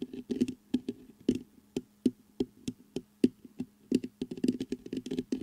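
Fingertips knock, tap and scratch the mesh grille of a black metal USB microphone. The result is an uneven run of short, dry taps with a low-mid thud around 250 Hz, speeding into a quicker cluster at the end, with faint scratchy texture between hits and little bright content.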